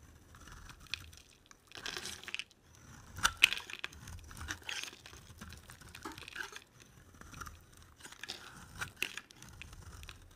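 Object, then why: Bar of soap scraped with a knife blade. A black-bladed utility knife scrapes and shaves a solid, dry, cream-colored oval bar of soap with an embossed logo, held in a hand with long nails. Repeated dry, crunchy scraping strokes come in uneven bursts, bright and crisp with little low end, and each shave cuts off quickly with no ring.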